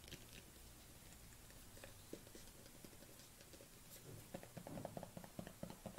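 Long nails tap along the side and lid of a dark plastic collagen supplement tub with a white label as it is held and turned in the hands. Faint, soft patter and handling noise give way after about four seconds to a quick run of sharper, hollow plastic taps with a mid tone around 650 Hz. Each tap dies away almost immediately.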